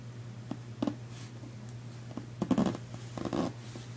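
Painted nails and fingertips scratch and tap the padded fabric front panel of a large, soft, hollow red nylon duffel suitcase, while the other hand briefly touches its top edge. Short, dull, muffled taps and rough fabric scratches come in scattered bursts over a steady low hum.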